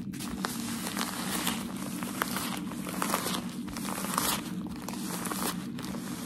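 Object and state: Tissue packaging paper being crinkled.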